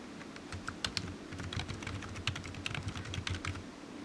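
Fingertips of one hand type on a solid, black low-profile plastic computer keyboard resting on a desk mat. A steady run of quick, bright plastic key clicks is heard, each dying away almost instantly, over a soft low background hum.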